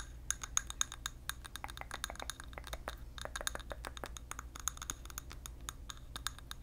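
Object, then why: Glass candle jar filled with wax. Fingernails tap and scratch on a large clear glass candle jar filled with orange and yellow wax, held in hand close to the microphone. A rapid, uneven string of sharp, dry clicks with a bright high glassy ping rings out only briefly over a faint low hum.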